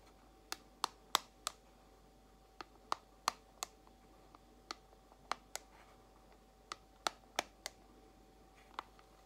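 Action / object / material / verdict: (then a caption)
tap / small clear plastic compartment box tapped with long acrylic nails / plastic / none. Long acrylic nails tap a small clear plastic compartment box holding white false nail tips, giving sixteen short, sharp, bright clicks at a slow, uneven pace. The clicks die away at once, with quiet gaps between them over a faint steady hum.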